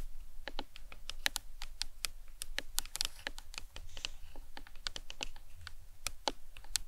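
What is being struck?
Hollow plastic skull model.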